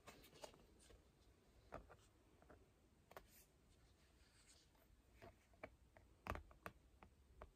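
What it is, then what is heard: Painted canvas panel. Long fingernails tap and scratch a small, flat, rectangular painted canvas board held in both hands. They make quiet, crisp, typing-like clicks and scrapes, with scattered sharper taps over a soft low rustle.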